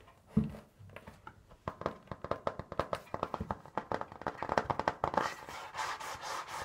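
Fingernails tap and scratch on the pink printed cardboard cover of a large notebook or folder, held flat against the chest. After a dull opening thump, a quick, uneven run of short, dry taps with a hollow, papery tone builds up. It ends in a stretch of bright, rustling scratching across the cover.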